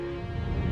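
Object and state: Nothing is struck.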